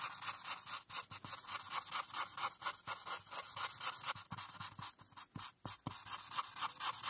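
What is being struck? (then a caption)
Felt-tip marker on a paper coloring sheet. A felt-tip marker is rubbed back and forth across a flat paper coloring page while shading in the blue background. The result is a quick, uneven series of dry, bright scratching strokes with almost no low end, broken by a few brief pauses.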